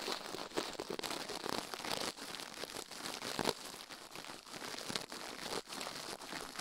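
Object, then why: Silicone microphone ear. The left silicone ear of a binaural microphone, resting on a steel plate, is brushed fast with toothbrush bristles while the other gloved hand rests still at the right edge. The result is a dense, continuous crinkly scratching that is bright and hissy with almost no low end, rising and falling in short surges.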